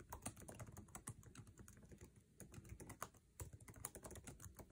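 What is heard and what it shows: Fingertips of both hands type fast on the backlit, low-profile scissor-switch keyboard of an aluminum MacBook Air resting on a table, tapping its plastic keycaps. A quiet, dense stream of short, dry clicks follows, each with a soft low thump and a faint bright tick that dies away almost instantly.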